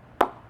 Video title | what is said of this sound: Kookaburra Vs GM Vs Hammer Cricket Bat 2020 | even though there's a lot of concavity in the blade but it's solid as rock